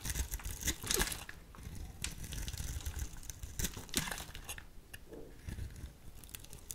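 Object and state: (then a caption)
Soap bar being shaved. A solid white soap bar held in the hand is shaved into curls with a small metal blade. Each scraping, carving stroke gives a crisp, crinkly rasp with bright, brittle detail, in uneven bursts with short quieter gaps.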